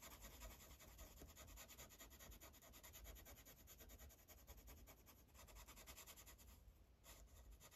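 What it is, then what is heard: Marker coloring on paper. A blue Sharpie marker's felt tip rubs across a thin paper coloring page resting on a clipboard, making quick, continuous coloring strokes. The sound is a dense, rhythmic scratchy rubbing with a bright papery hiss over a low, steady rumble, easing briefly near the end before resuming.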